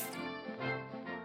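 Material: Nothing is struck.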